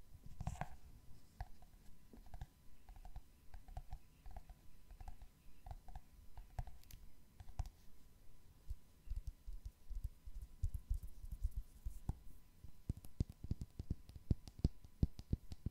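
Fingernails tap on the glossy cardboard cover and spine of a solid hardcover book. Dozens of quiet, dry, low-heavy clicks die away almost instantly, coming in a slow, even rhythm at first and then turning faster, denser and sharper toward the end.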